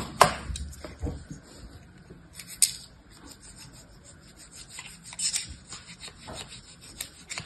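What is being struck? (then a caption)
Kinetic sand in a plastic mold scraped with a metal blade. A metal knife blade scrapes across pink kinetic sand packed into a small pink square plastic mold held in the hand, leveling the sand to show a star shape. Soft, gritty rubbing and scraping is heard, with a few sharper, brighter scrapes standing out against a quiet background.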